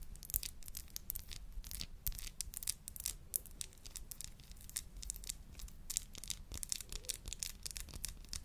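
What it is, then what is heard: Glass bud vase. Long nails scratch and tap the sides of a tall, narrow, hollow clear glass bud vase with a dark base. Quick, dry, bright scratches and ticks repeat densely across the clip, with no ringing.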